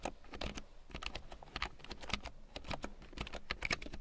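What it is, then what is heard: Plastic keyboard being typed on. A full-size large print keyboard with a black plastic frame and big yellow plastic keycaps, lying on faux fur, is typed on with long painted nails and fingertips. Rapid, irregular clicky taps are heard, each short and dry with a bright edge, over a steady low hum.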